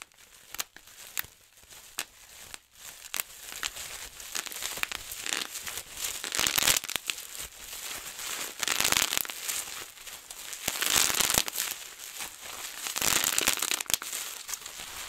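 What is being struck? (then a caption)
Plastic bubble wrap. Fingertips pinch bubbles on a large sheet of clear plastic bubble wrap, giving sharp, scattered pops, then both hands twist the rolled sheet and burst many bubbles at once. The sound becomes a dense, bright crackle of overlapping snaps and crinkling plastic with almost no low end.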